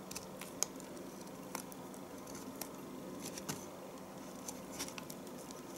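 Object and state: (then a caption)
Bar of household soap being shaved. A knife scrapes shavings off the top of a solid, small rounded bar of household soap. Soft, dry scratchy strokes and faint bright ticks sit over a low, steady hum. The sharpest clicks stand out near the start and at about 1.5, 2.6 and 3.5 seconds.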